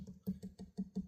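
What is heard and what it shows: Taps on a wooden guitar headstock at a previously repaired break give seven short, dull, low knocks centered around 190 Hz with almost no ring. The tap sounds a little hollow, as if the repair is not held down or bonded, so thin super glue is to be wicked in to reinforce it.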